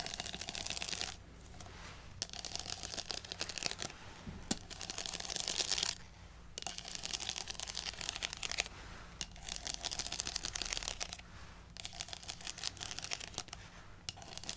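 A tall stack of nested, empty, hollow yellow plastic cups bearing a Bumble logo is held in one hand while long nails tap and scratch along the ribbed sides. Bursts of bright, crackling scratching alternate with brief quieter pauses, peppered with sharp clicky taps. The sound is dry and close, with almost no ring after each hit.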